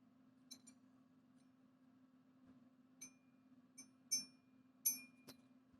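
A counterfeit silver bar, the heavier one with a different font, is balanced on a finger and tapped for a ping test. It gives a series of short, high clinks that die away almost at once, unlike the long hanging ping of a real bar, marking it as fake.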